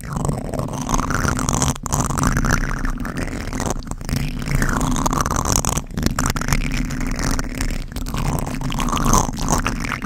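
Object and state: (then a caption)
Foam microphone windscreen being scratched. Fingertips of both hands scratch a black foam windscreen on a microphone, making a continuous, heavy low rumble with brushing, scraping texture and shifting midrange swishes. The sound stays dense and steady, without clear separate strokes.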